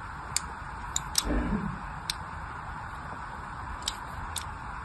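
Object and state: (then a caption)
Soap bar being scored with a blade. A small blade scores a crosshatch into the surface of a solid orange glycerin soap bar held in the hand. Six short, bright, crisp scratching ticks stand out over a steady low hiss, with a soft dull rumble around the third tick.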